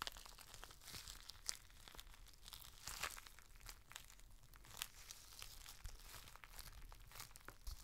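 A clear, thin, flexible plastic rain cover, folded into a small flat bundle about hand-width, is held in both hands and crinkled, squeezed and rubbed with the fingertips and thumbs over a plain white surface. It makes a steady, bright crinkling and crackling with frequent sharp crisp snaps over a faint low rumble.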